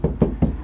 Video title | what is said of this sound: Toyota Avalon the Morel Virtus front speakes go in Installer Diaries 350 part5 | when you tap the door has a really hollow sound to it